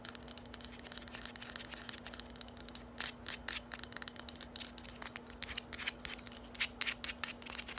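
Long acrylic nails rapidly tap and scratch a small, hollow, lime-green hard plastic bottle or dispenser held in the hands. The result is a dense run of quick, bright clicks and scratchy rasps with almost no ring, over a faint steady low hum.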